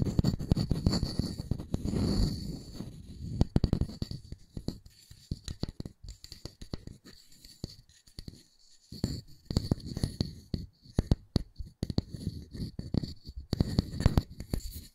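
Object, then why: Wooden disc. Fingertips and nails scratch and tap the grain of a solid round wooden disc held in one hand. Dense bursts of dry, low, scratchy rubbing and quick soft taps die away almost instantly, with a quieter stretch of sparse taps in the middle. A faint steady high tone sits underneath throughout.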